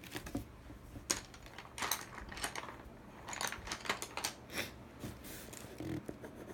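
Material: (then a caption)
Cardboard. A colored pencil tip, held in the fingers, rubs and scratches the inside of a large, hollow, empty teal printed cardboard subscription box lid while coloring in the logo. Quiet, irregular scratchy strokes with bright, crisp upper tones come in short bursts with brief pauses between them.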